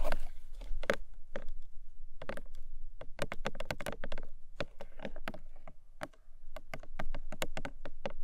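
Long nails tap rapidly on the top face of a long, narrow, hollow pink paperboard box lying flat. The result is a steady run of quick, dry, clicky taps over a low, hollow body resonance. Each tap dies away almost at once.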